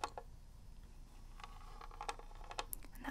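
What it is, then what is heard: Plastic game cartridge. A hollow plastic NES game cartridge is held in one hand while long red nails of the other hand tap and scratch its label and shell. The result is quiet, short, dry clicks and faint scraping around a mid-range pitch, with occasional brighter ticks over a low background rumble.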